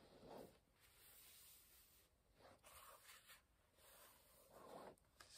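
A page of an open paperback book is turned with the fingertips, then the hands rub flat across the paper pages. Soft, breathy rustles and a dry scraping hiss swell and fade, with bright high paper sizzle and a low-mid rustle.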